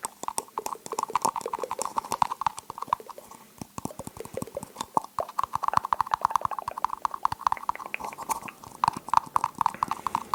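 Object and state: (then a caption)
Tapped cup. A cup is tapped rapidly and continuously with light, clicky strikes, each carrying a short ring around 940 Hz. The taps come in quick irregular bursts with brief pauses and no speech.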